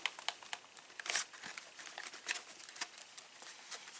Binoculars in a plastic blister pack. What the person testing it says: No unexpected noises.